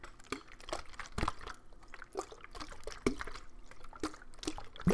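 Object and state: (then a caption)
Partly filled plastic water bottle. A clear, thin plastic water bottle with a green cap, partly filled with water, is handled and shaken. The water sloshes and gurgles inside, mixed with soft crinkles and irregular taps of the plastic. The result is a quiet, uneven stream of liquid sounds with a few sharper bursts.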